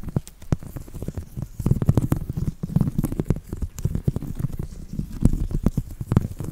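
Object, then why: Woven seagrass coaster. A thin copper stick scratches a flat, coiled, woven seagrass coaster that is moved around close to the microphone. The result is a dense run of short, dry scratches and crackles over a soft, low, rumbling body, with brief bright ticks scattered throughout.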